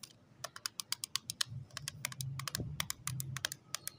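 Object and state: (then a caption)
Plastic cosmetic case tapped with nails. Long acrylic nails tap rapidly on the lid of a small, closed pink plastic case holding lip tints, resting on cloth. It makes a quick run of sharp, dry, bright clicks that stop instantly with no ring, over a faint low hum.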